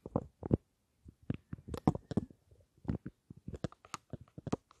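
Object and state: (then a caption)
Lipstick case tapped with nails. A small rectangular black and gold lipstick case, with a gold frame and dark panels, is held above the mics and tapped with long nails. It gives an irregular run of soft, dull, low taps and light clicks with brief gaps between. Each tap stops at once with no ring.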